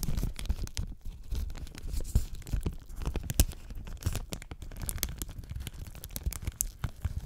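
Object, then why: Thin plastic shrink wrap film. Thin, clear plastic shrink wrap, just removed from a trading card tin, is held and crumpled between fingertips with long nails while the tin sits nearby. A steady run of close crinkling, crackling and tearing comes from the film, with quick sharp snaps over a low rumbling base.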